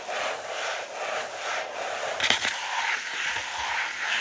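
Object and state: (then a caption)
Paper notebook page being scratched. A page of an open lined paper notebook with a green cover, lying flat on a wooden table, is scratched with fingertips and short nails. A steady, bright, papery scratching rasps on throughout, with a few slightly sharper scrapes near the middle.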